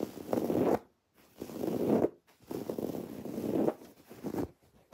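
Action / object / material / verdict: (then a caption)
scrape / woven fabric throw pillow with raised cord embroidery / woven fabric / none. A soft, stuffed teal throw pillow of textured woven fabric with raised white cord lettering embroidery is scratched with long nails, then gripped and turned. Several bursts of dense, scratchy rustling, centered in the low-mid range, are separated by brief silences.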